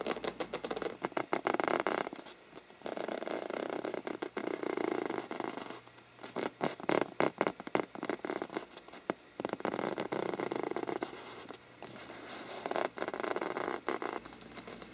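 Short-nailed fingertips scratch and tap the mottled faux-parchment paper surface of a hollow lampshade. Dense bursts of dry, papery scratching alternate with quick, crisp taps, centered in the mid-range with brief quieter pauses between passages.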